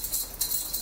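A black faux-leather biker jacket is shaken, and its metal fittings give off a thin, bright jingling, with two louder bursts over a steady chiming rattle. The fittings are noisy enough that the jacket's belt was removed, because walking in it made this jingling constantly.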